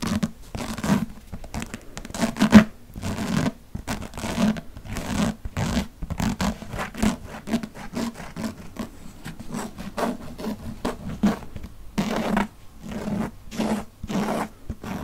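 Fingernails scratch the cardboard cover and page edges of a thick hardcover paper book held flat overhead. A steady run of dry, raspy scratching strokes comes in quick bursts, with a low body and little brightness. Each stroke stops short with almost no ring.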